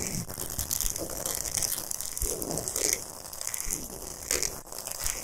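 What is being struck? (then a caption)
Salt block. Long nails scratch fast and aggressively across a large, flat, solid pink Himalayan salt block. The result is a continuous dry, gritty scraping that stays mostly high and bright, with short rasping bursts and brief low thumps.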